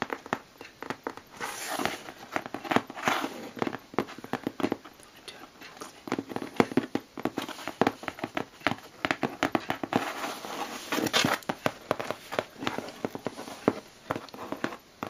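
A closed, hollow corrugated cardboard shipping box with clear and white tape on top is tapped and scratched with fingertips and long blue-painted nails. The result is a dense run of quick, dry, short taps and scratchy crackles with almost no ring, mostly in the mids and little low end.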